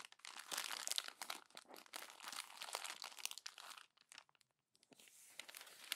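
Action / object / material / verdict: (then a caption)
scrape / glossy paper magazine pages / glossy paper / none. A hand squeezes and crumples the glossy pages of a paper magazine into a wad. Dense, bright crinkling and crackling bursts run almost continuously, with no low end, pausing briefly before the crunching resumes.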